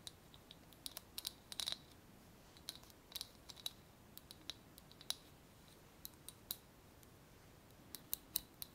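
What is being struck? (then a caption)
Small glass jar with wire clasp lid. A small, clear glass jar with a wire clasp lid, closed and filled with paper pieces, is held in one hand and tapped with long painted nails. The result is an irregular run of quiet, sharp, bright clicks that stop instantly with no ring, some in quick clusters, over a faint steady hiss.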